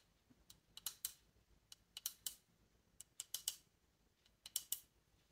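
Long nails and fingertips tap on a polished reddish wooden bassoon joint, a hollow tube with metal rings and keys. About fifteen sharp, dry, high-pitched clicks come in irregular bursts of two or three, each dying away almost instantly.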